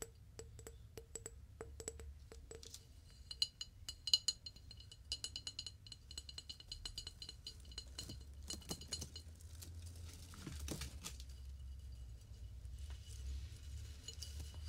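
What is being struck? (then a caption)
Flower vase, probably glass or ceramic. A flower vase is tapped, giving quick, bright clinks with very short ring. The taps start slow and evenly spaced, then turn into quicker, denser clicking and rattling. A steady low hum runs underneath throughout.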